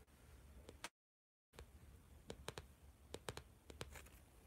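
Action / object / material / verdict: tap / plastic-covered spiral notebook / plastic / none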